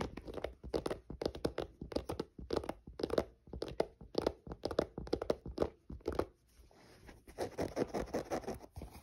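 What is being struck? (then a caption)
Synthetic mesh running shoe. Fingernails scratch the synthetic mesh side panel of a hollow, empty grey mesh running shoe as it is held and turned. Rapid, dry scratchy bursts with a mid-range rasp follow one another closely, pause briefly to a faint hiss, then resume.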